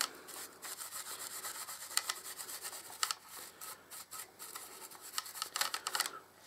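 A wide wooden-handled bristle paintbrush is brushed and rubbed across the underside of the thin hollow saucer of a hand-held grey plastic Enterprise-E style Star Trek starship model, about 30 cm long, held above a blue display stand. Bright, dry scratchy rasping comes in short strokes, with several sharper brushy bursts and no low end.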